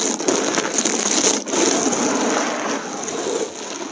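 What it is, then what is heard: Dried soap shards being crushed. Fingertips scratch, press and crush a pile of thin, multicolored dried soap plate fragments on the surface of the heap. A dense, continuous crackle of dry snapping and crunching fills the clip, with a bright high edge and almost nothing low, easing slightly toward the end.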